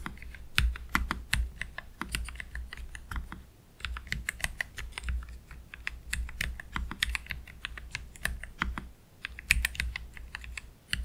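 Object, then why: Low-profile mechanical keyboard, plastic keycaps. Both hands slowly press the keys with their fingertips on a black Keychron K3 Pro low-profile mechanical keyboard with Gateron Red low-profile switches and plastic keycaps, resting on a desk mat. Short, crisp, bright clicks and clacks come in uneven bursts with brief pauses, each dying away almost instantly, over a steady low hum.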